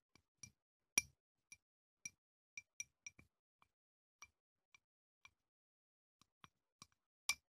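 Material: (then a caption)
Glass. A small clear glass candle jar with wax inside, held in one hand, is tapped on the outside with a wooden chopstick. It gives a series of short, bright, high clinks at uneven intervals, each dying away almost at once, with a few louder taps among them.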